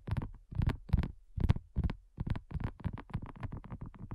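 A flat, round, pink dotted silicone coaster, thin and solid, is tapped with long nails and fingertips. Quick, uneven bursts of soft, dull, low-pitched taps follow one another with very little ring, running closer together toward the end.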